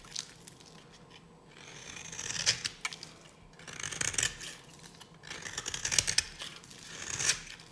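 A solid, dry pink bar of soap is held in the hand and shaved into flakes with a metal blade. Bright, crisp scraping and crackling strokes rise and fall in waves, with sharp clicks as the blade bites into the bar.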